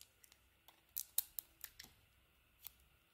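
A small metal blade cuts and carves a pink and cream solid bar of soap, making nine quiet, crisp, high scraping clicks. Each click is short and bright with almost no low end, and the clicks come at uneven intervals over a faint background hiss.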